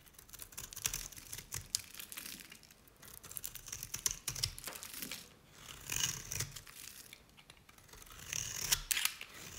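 A knife blade shaves thin curls from the bottom edge of a cream-colored, dry solid Nevskaya Cosmetics bar soap held in the hand. Crisp, bright scraping and crackling comes in several swelling passes, separated by brief quieter gaps. There is very little low end.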